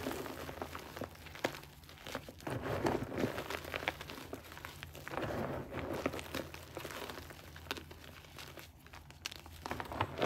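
Fingertips and thumbs dig into a pile of crumbled grey gym chalk (magnesium carbonate), squeezing and crushing the powder and small crumbly lumps and rubbing them between the fingers. Close, dry crunching and crinkling crackles come in an irregular, dense stream with brief sharper snaps. There is a soft powdery hiss underneath.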